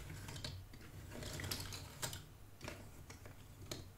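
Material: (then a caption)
Cardboard. Fingertips with dark nails sift and scratch through loose cardboard jigsaw puzzle pieces in a shallow cardboard box, while the assembled puzzle on the cloth stays untouched. The result is a soft, steady rustling and scraping with sharper bright clicks and crackles as pieces shift against each other, over a faint low hum.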